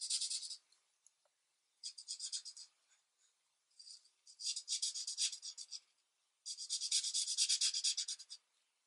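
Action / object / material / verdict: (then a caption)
scrape / felt-tip marker on a paper sheet / paper / none. The felt tip of a plastic alcohol marker, held in fingers with long nails, rubs a single sheet of paper coloring page lying flat on a thin light pad on a desk in short back-and-forth coloring strokes. Quick, dry, high-pitched scratchy strokes come in four bursts separated by brief quiet pauses, with no low end at all.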